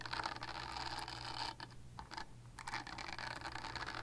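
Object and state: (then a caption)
Silicone body scrubber. Long nails scratch across a purple silicone body scrubber with bristles, making a dense, bright, rasping scratch. The scratching dips quieter for about a second midway, then picks back up over a steady low hum.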